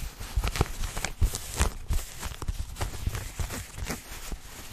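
Fingertips and nails scratch light-wash denim jeans, a flexible cloth with a pocket and seams, held up behind the microphone. The sound is a dense, rough scratching and rustling with short, deep thumping bursts that rise and fall over a soft, continuous fabric hiss.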